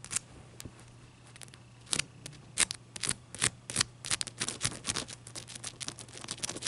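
Long dark-purple nails tap and scratch the faces and edges of a clear, solid ice cube held upright on a white towel. Crisp, bright clicks and brief scratchy rasps come in an irregular, fairly quick patter, each dying away almost instantly over a faint steady low hum.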